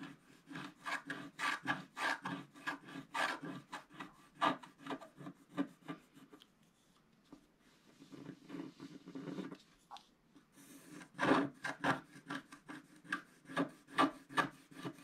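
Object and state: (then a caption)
Scratch-art card being scratched. A wooden stylus scratches the black coating off a flat scratch-art paper sheet, held down by the fingers of one hand, inside a planet shape. Quick, dry rasping strokes repeat in bursts, fade to a soft, quiet stretch of scraping midway, then return loud and rhythmic.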